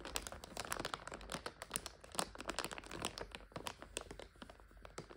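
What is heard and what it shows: Fingers squeeze a clear plastic bag full of dried egg noodles while long nails scratch the crinkly plastic. It makes a dense run of sharp, bright crackles and crinkles, with the noodles shifting faintly inside. The sound stays quiet throughout and softens toward the end.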